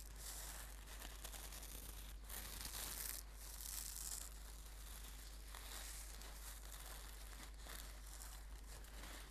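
Hands squeeze and crinkle a red and gold embroidered silk brocade singing bowl cushion. The result is a continuous, quiet crinkling rustle with a bright, hissy texture, over a steady low hum that runs throughout.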